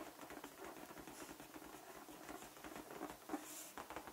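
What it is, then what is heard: Latex balloon. A large, hollow, air-filled light-blue latex balloon is held in the hand and tapped with fingertips and short nails. Quiet, rapid, soft pattering taps run throughout, with a hollow mid-range tone, very little bass, and a brief ring after each tap.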